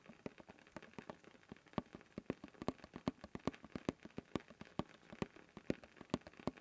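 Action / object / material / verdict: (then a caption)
tap / canister with plastic lid / plastic / none. Fingertips tap and scratch steadily on the blue plastic lid of a labeled cylindrical canister held upright. The result is a dry, rain-like patter of quick, short taps with soft scratching between them, and some taps land louder than others.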